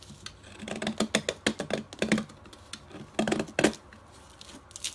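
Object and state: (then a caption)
Chalk block scraped with a blade. A metal utility blade repeatedly scrapes and cuts into a solid striped pastel chalk block held upright in the fingers, sending colorful crumbs onto white paper. The clip is a quick run of crisp, dry scraping clicks and gritty scratches, with brief pauses between bursts, in a quiet space.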